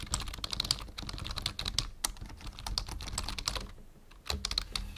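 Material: Plastic.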